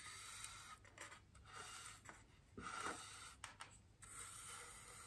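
The bristles of a small paintbrush brush across a large, white, solid styrofoam wreath ring resting on a table. The result is soft, quiet scratchy rubbing strokes with a bright hiss, rising and falling in waves over a steady low background.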